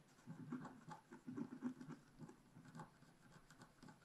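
A wooden stylus scratches quick, short strokes into the top right corner of a black wax-coated scratch art paper sheet lying on a table. Each stroke makes a quiet, dry rasp with a low-mid body, coming in a rapid, uneven rhythm. The strokes stop dead with no ring.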